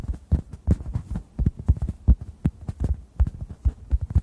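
A hand-sized, solid, yellow-orange synthetic foam sponge is tapped with fingertips above the microphones. The result is a quick, uneven run of soft, muffled thumps, deep and bass-heavy with almost no brightness, each one dying away at once.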